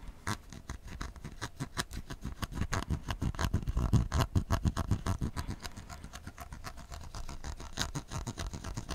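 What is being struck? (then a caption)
Plastic PET bottle filled with tea. A hand-sized, hollow, clear plastic PET bottle full of amber tea, with a gold cap and a paper-style label, is held in one hand while the fingertips and short nails of the other hand scratch and tap it. Dense, irregular scratches and soft taps come in quick succession, with a dull, low, muffled body and very little high brightness. Each touch dies away almost instantly.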